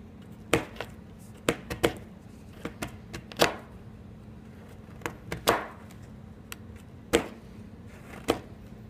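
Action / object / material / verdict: strike / chalk stick cut with a steel knife on a board / chalk / none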